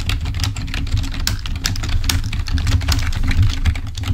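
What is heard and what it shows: Fingertips of both hands type rapidly on a full-size black plastic Microsoft membrane keyboard resting on a table. A dense, continuous stream of short, bright clicks and taps rides over a steady low hum, with each keystroke dying away almost instantly.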